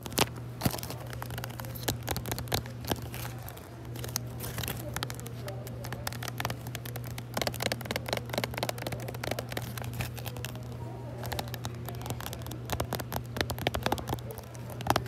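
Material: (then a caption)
Plastic. Long manicured nails scratch and tap a small clear plastic retail package of yellow silicone dog boots with a printed card insert, held in one hand in a store aisle. The result is a dense stream of crisp, bright plastic clicks and crinkly scratches, over a steady low hum.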